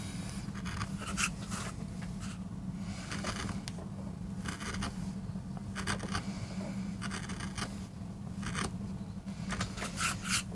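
A wooden-handled gouge, held in a gloved hand, digs and scrapes into a small, flat, solid MDF relief block carved with a rose design. Short, bright scratchy bursts recur over a steady low hum as the tool cuts and scrapes across the surface.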